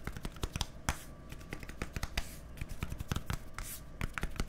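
A small, hollow white plastic deodorant stick with a green cap is held close to the microphone and rubbed and scratched with fingertips and nails. Quick, sharp tapping clicks and scratchy bursts come in an irregular stream over a low, steady rumble. Each click is dry and dies away almost at once.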